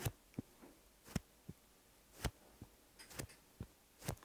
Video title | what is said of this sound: 광고❌ 지속력은 보고 사세요!! 루나 컴피라이트 쿠션 VS 에스쁘아 비내추럴 쿠션 : 피부결 이거 맞아요??🤦‍♀️ [SUB] | 製剤が肌にポストイットのように'syaag-syaag'つくからパフを叩くときに少し抵抗感が感じられます